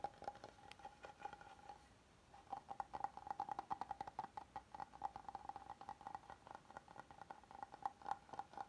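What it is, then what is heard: Wooden cutting board. An oval solid wooden cutting board is held upright while both hands tap and scratch its flat grained face with fingernails. Quick, dry fingernail taps and light scratches ring with a faint steady tone around 800 Hz, pause briefly near the two-second mark, then resume as dense, rapid tapping. The sound stays quiet and thin, with almost no low end.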